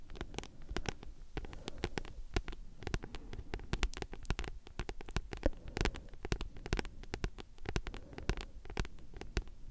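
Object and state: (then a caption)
Paperback book. Long nails scratch and tap a thick, solid paperback book with a glossy card cover, working over both the cover and the spine. Rapid, dry, crisp clicks and taps fall in a steady flurry over a soft, low, rumbling scratch. Each tap dies away almost instantly.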